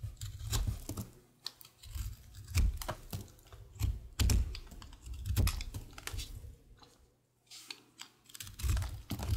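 A utility knife blade shaves and scrapes the surface of a solid, pale green, star-shaped soap bar held in the hand. Short, crisp scraping ticks and clicks come in uneven bursts, with a dull low thud under the louder strokes and brief quiet gaps between passes.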